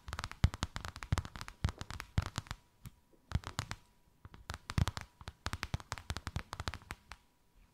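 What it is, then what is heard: Faux leather sheet, tapped and scratched. Long white acrylic nails rapidly tap and scratch a thin white faux-leather sheet with a snakeskin emboss, draped over something rounded. Quick bursts of crisp, dry clicks with soft low thumps and scratchy rasps come in clusters separated by brief pauses, each hit dying away almost instantly, over a faint steady tone.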